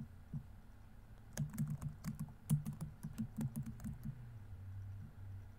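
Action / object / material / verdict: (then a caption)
tap / plastic laptop keyboard / plastic / none. Fingertips tap the plastic keys of a laptop keyboard at a steady pace. A quiet run of soft, dull clicks starts after a brief pause, sounding low and muffled with short decay. The typing then trails off into faint hum.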